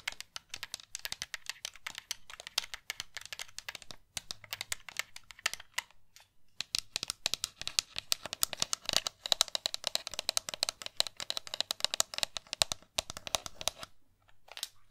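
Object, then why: Plastic game controller. Long nails tap rapidly across the shell and buttons of a pink hollow plastic game controller. The result is a dense stream of dry, bright clicks and clatters with almost no low end, pausing briefly around four, six and fourteen seconds. Each tap dies away at once.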